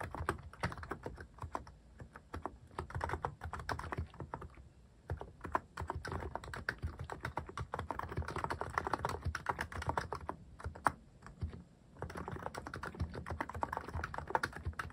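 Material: Plastic.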